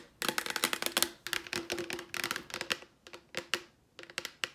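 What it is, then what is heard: Plastic wipes canister. Long nails tap and scratch rapidly on the plastic lid and sides of a cylindrical Clorox disinfecting wipes canister, which is hollow with wipes inside. The sound comes as quick, bright clicking bursts in irregular clusters, each tap dying almost at once, over a faint hollow midrange ring. Short pauses separate the clusters.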